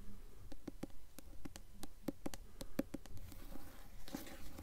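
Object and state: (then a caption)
Hardcover book dust jacket tapped with nails. Long acrylic nails tap and scratch the glossy paper dust jacket on the front cover of a solid hardcover copy of The Golden Compass, held upright. A quick, fairly steady series of short, dry, low taps with almost no ring is heard, with a soft brushing scratch toward the end.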